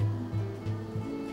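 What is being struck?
Nothing is struck.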